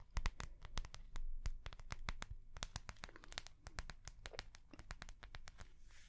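A small ring-bound notebook with a translucent soft plastic cover is held in the hands and tapped rapidly with long fingernails. Quick, dry clicks with bright edges run over a dull low thump, each dying away almost at once. The tapping keeps a busy, irregular rhythm and gradually softens toward the end.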